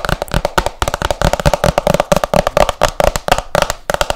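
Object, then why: Hardcover book with glossy cover. Long nails tap fast on the glossy printed cover of a solid hardcover book, making a rapid run of about 27 sharp, dry clicks. Each tap stops almost instantly, with a hollow tone around 600 Hz over a soft low thump.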